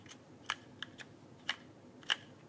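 Fingertips type on the plastic keycaps of a backlit mechanical keyboard held flat in front of the body. Six short, dry, bright clicks land at uneven intervals, each with a sharp tone around 3 kHz and almost no ring. The clicks sit over a faint, steady background hiss.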